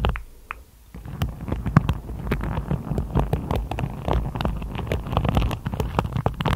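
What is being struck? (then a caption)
Hairbrush with plastic bristles. Long acrylic nails run over and tap the tips of the dense black-and-white plastic bristles on a hand-sized hairbrush with a wooden body, held close. After a near-silent first second, a rapid, scratchy patter of quick ticks and brushing strokes fills the clip. It is heavy in the low end, with dry, sharp clicks.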